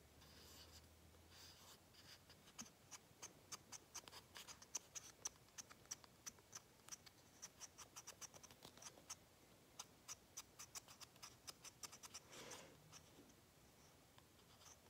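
Painted fingernails scratch and tap the tan cap and top of a small light-blue plastic acrylic paint bottle held in one hand. The sound is a quiet series of sharp, dry, bright clicks with almost no ring, broken by soft brushy scratching near the start and again toward the end.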